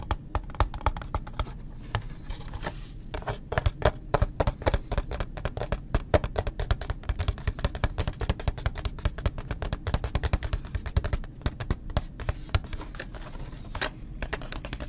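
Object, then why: Cardboard box holding wax blocks. A small, closed, printed cardboard Gulf Wax box holding paraffin wax blocks is held in both hands and tapped and scratched with the fingertips and nails. Rapid, dull, low-pitched taps blend with light scratching throughout, each tap stopping almost at once with no ring.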